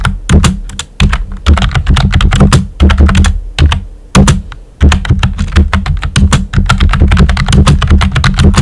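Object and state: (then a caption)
Plastic computer keyboard. Fingertips with short nails type on a pink and white plastic computer keyboard with round, typewriter-style hollow keycaps. A steady run of sharp plastic clacks rides on a deep, hollow low-end thump, with brief pauses between bursts of typing.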